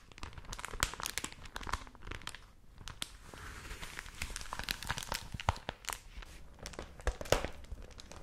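A folded supplement of thin newsprint is crinkled and squeezed close to the mics with fingertips and long nails, then unfolded and held open. The sound is a dense, continuous crinkling and crackling, with many sharp, bright snaps that end quickly over a soft rustle. It closes with a few louder pops as the paper opens out.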